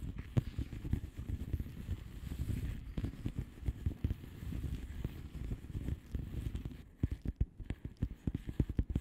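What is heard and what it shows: Long polished nails of both hands tap and scratch the plastic bubble wrap surface of a flat padded envelope. Dense, soft, low scratching and pattering fills the first seven seconds. It then thins into separate dull, quick taps that stop at once with no ring.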